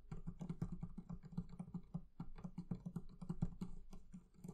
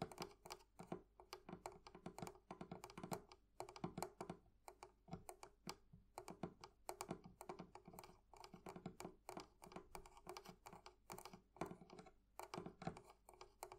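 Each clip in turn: First: leather covering on a barrel chest. Second: metal fittings on a wooden chest.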